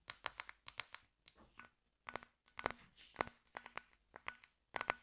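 An empty, hollow brown glass bottle with a pink label, held horizontally, is tapped and scratched with fingernails. Quick, bright clicks and ticks follow one another in uneven bursts, each dying away almost at once, with light scratchy rasps between them.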